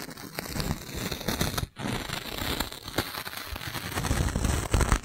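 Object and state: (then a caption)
Plastic balloon bubble being squeezed. A clear, thin, hollow plastic magic balloon bubble about the size of a fist is held in the hands close to the mic and squeezed and rubbed with fingertips. It makes a dense, continuous crackling and crinkling with bright snaps over a soft low rumble. There is a brief silent gap partway through before the crinkling resumes.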